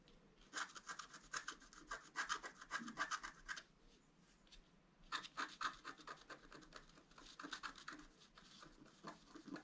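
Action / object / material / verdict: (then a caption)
scrape / wax-coated scratch art paper card scratched with a wooden stylus / coated paper / none. A wooden stylus scratches the flower area of a flat black-coated scratch art paper card, making quick, bright, rasping strokes in two bursts separated by a quiet pause near the middle. The stylus is lifted at the end.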